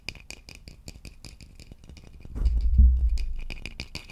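A hollow, polished wooden vase is held in both hands and tapped and scratched along its body with fingertips and nails. Quick, irregular, rattling taps with bright clicky edges run throughout. Midway a deeper low thumping rumble swells up, then fades as the light tapping continues.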